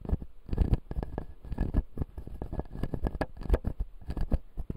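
A fingertip scratches and taps the front teeth of a closed, solid clear acrylic dental model with white plastic teeth. The result is a rapid, irregular run of short, dry clicks and scraping patters with a dull low thump under them, each dying away almost instantly.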